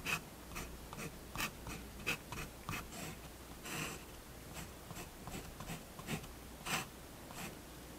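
A fineliner pen draws short scratching strokes on a paper page of a spiral-bound sketchbook resting on a wooden table. The strokes come as brief bright bursts of scratchy noise, with six distinct louder strokes standing out over a quiet, steady background hiss.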